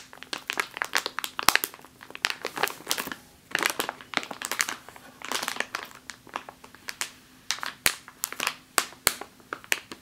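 Long nails tap and scratch along the top of a full plastic bag of flour resting on a table. Dense bursts of sharp, bright crinkling and crisp clicks come in quick, uneven clusters, each dying away almost instantly, over a faint steady low hum.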